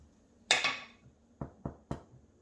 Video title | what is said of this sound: How to Make Rosemary Cheddar Sourdough Bread (Using a Stand Mixer) | knock on the bottom and it should sound hollow